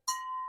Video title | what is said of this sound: THRIFTING, ANTIQUING, BLUEBERRY PICKING IN NEW ENGLAND #cottagestyle #vermont #newhampshire #garden | that does make a nice sound